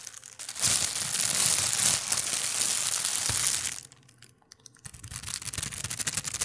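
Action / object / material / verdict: scrape / thin plastic bag / plastic / none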